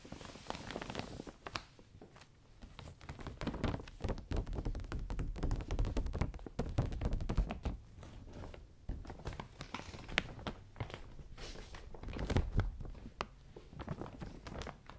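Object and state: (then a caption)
Clear vinyl umbrella canopy. Fingertips and long nails wipe, press and tap the canopy of a new, closed clear vinyl (PVC) umbrella printed with butterflies, a thin flexible sheet over metal ribs, while it is wiped down with a paper towel and a spray bottle. Dense, irregular soft taps, dull low thumps and brief plasticky crinkles and rubs run throughout, with short bright clicks from the nails and no ringing tail.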